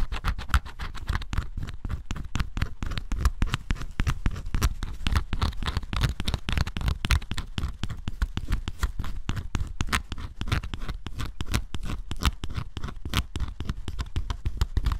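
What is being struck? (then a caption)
Coated cardboard puzzle pieces scraped with a metal scraper. A metal scraper scratches the black scratch-off coating off flat cardboard jigsaw puzzle pieces, revealing green underneath. The result is a dense, continuous run of short, dry scratching strokes, too close together to count, with a low rumbling body and faint bright edges on each stroke.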